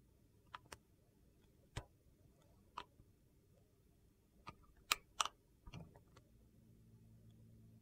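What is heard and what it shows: A utility knife blade slices the edge of a thin slab of translucent blue-green glycerin soap held in the hand while carving. Sharp, bright clicks and snaps come at irregular intervals over a quiet background, each dying away almost at once. A faint low hum rises near the end.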